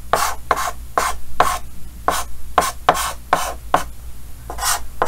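Yellow chalk held in the fingers scratches twelve short strokes across a large, flat, solid painted chalkboard with a green frame. Each stroke is a brief, dry, raspy scrape with a faint squeaky mid-pitched tone and bright hiss, separated by short pauses over a low steady hum.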